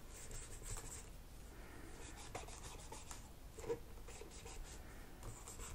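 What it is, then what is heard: Plastic laptop keyboard. A cotton swab is scraped between the black plastic keys of a laptop keyboard while cleaning it. A quiet, steady dry scratching and rubbing comes through, with faint bright hiss and a few small ticks, one slightly louder near the end.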